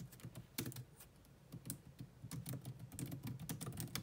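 Fast two-handed typing with long nails on a grey laptop keyboard with low-profile plastic keys. It makes a rapid, continuous run of short clacks with a low thump under bright clicky tops. Each tap dies away almost at once.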